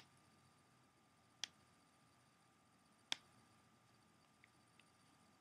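Fingernails tap and scratch along the front cover and edge of a closed, hollow, clear plastic CD jewel case held close. Two sharp, bright clicks stand out, followed later by two much fainter ticks. Each sound dies away almost instantly against a quiet background with a faint steady tone.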